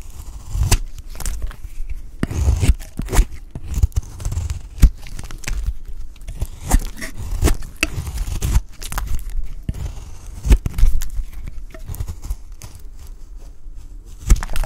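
A utility knife blade shaves the remaining piece of a peach-pink solid bar of dry soap, making dry, crackly scraping and crumbly tearing sounds. Sharp, bright clicks and snaps break through the steady rasp as flakes come away, over a dull, low-heavy body.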